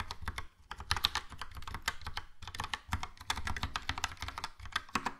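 Fingertips type steadily on a Logitech POP Keys plastic mechanical keyboard with a yellow plastic case and round plastic keycaps. Quick, bright plastic clacks carry a low, dull thud under each press, with two short pauses in the flow. Each keystroke stops almost at once.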